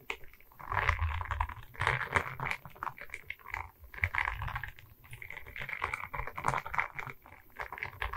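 A diamond painting of resin beads on a wooden canvas board, held at its sides, is tapped quickly by long red nails. The result is a dense, continuous patter of small clicky taps with bright upper tones and a soft low thump underneath, rising and falling in loudness in bursts.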